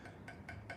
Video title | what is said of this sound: One Of Our Best Thrift Hauls Ever! We spent less than $85 | it's something that sounds like metal